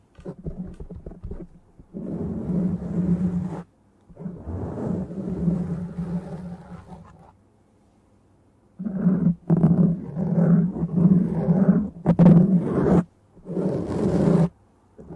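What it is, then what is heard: Foam microphone windscreen scratched. Long dark-painted nails and the fingertips of both hands scratch and rub a black foam windscreen on a microphone. The result is deep, muffled, rumbling scratching in bursts of a second or more, separated by short silences. The sound is heavy in the low end, with almost nothing bright on top.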